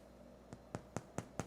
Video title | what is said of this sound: The Easiest White Bread You’ll Ever Make - No Kneading, No Mixer, Just Magic! | And as soon as the bread is out of the oven, tap the bottom. It should sound hollow. That means it's done.